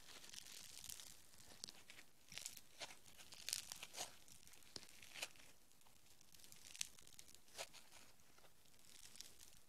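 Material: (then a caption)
Foam beads. Green foam bead clay is stretched into a strand and then squeezed into a lump with the fingers. The result is a quiet, steady bed of bright crackling and crinkling, broken by many sharp, dry pops that die away almost instantly.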